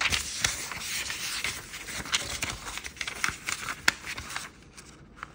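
A thin, koi-printed origami paper sheet is handled, folded and creased by fingertips on a wooden table. It makes a steady, bright crinkling rustle punctuated by sharp, crisp crease snaps. The rustling fades to near silence in the last second, with one final soft crinkle.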